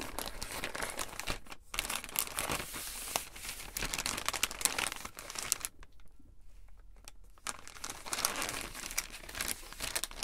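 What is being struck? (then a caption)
Thin plastic mailer bag. A flat, thin purple plastic poly mailer bag holding something is picked up, then laid on a table and rubbed and pressed with fingertips and palms. This produces dense, bright crinkling of the thin plastic. There is a brief pause near the start and a quieter stretch in the middle before the crinkling picks up again.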